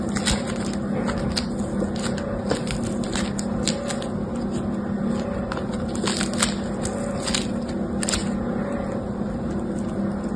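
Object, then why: Foam bead slime pressed and stretched by hand. Yellow-green foam bead slime (floam) is stretched into a long strip and sheet between both hands while fingertips press into the beads. A steady, dense crackle of small bright pops and clicks runs throughout over a constant low hum, with no pauses.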